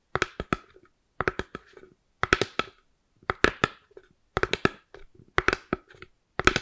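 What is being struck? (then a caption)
Polystyrene foam plate. A white round styrofoam plate, held to the right of the microphone, is tapped and scratched with long purple acrylic nails. Seven bursts of quick, dry clicking taps ring out, each with a hollow tone around 370 Hz and a bright crackle. The taps die away almost instantly, with brief faint scratches between them.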